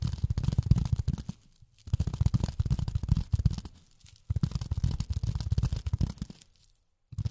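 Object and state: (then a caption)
Polyethylene foam tapped with fingernails. Long fingernails tap rapidly on polyethylene foam, making soft, dull, low thudding clicks in quick bursts. The tapping comes in three main runs separated by brief silent pauses, then starts again at the end.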